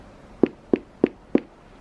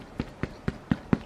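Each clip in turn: First: Four short, even knocks with a mid-low thud and no ring: a stiff, hard leather bag bottom. Second: Five soft, dull knocks with no ring, a muffled low thud from a worn, pliant leather bag base.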